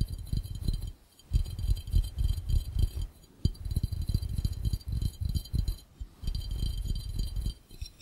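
Fingertips tap rapidly on the base and edges of an empty, hollow, clear glass fishbowl. The taps are short, dull, low knocks that come in quick, uneven bursts separated by brief pauses, with a faint bright glassy tinkle above them.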